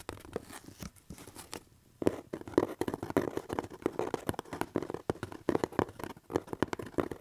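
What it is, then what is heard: Cardboard box. Fingertips and nails scratch and tap on the surface of a hollow corrugated cardboard box held up in the air. Soft, quiet scratching for the first two seconds fades almost to silence, then gives way to a denser run of dry, papery taps and scrapes with a hollow mid-range knock, each dying away almost instantly.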